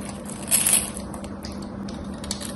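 A solid cream bar of soap with a gold painted coating, held in both hands with long white nails, is scraped and shaved with a metal craft knife, sending crumbly flakes off. Soft, bright scraping and crackling runs throughout, swelling into a louder, high-pitched shaving burst early on over a steady low hum.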